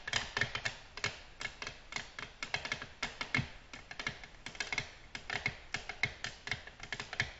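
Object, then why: Glass tabletop tapped with long fingernails. Long natural nails gently tap a flat, solid, glossy black glass tabletop in quick, uneven runs of crisp, bright clicks, each with a faint glassy tone near 2 kHz. Every tap dies away almost instantly, leaving a dry, steady patter of dozens of light taps.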